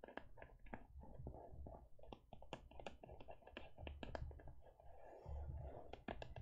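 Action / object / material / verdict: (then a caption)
tap / faux leather e-reader cover / faux leather / none. A closed teal faux leather e-reader cover, held on cloth, is tapped repeatedly on its front by fingertips and long nails. The result is a quiet, steady stream of short, dry clicks and soft thuds over a low rumbling bed, with a few bright nail ticks standing out.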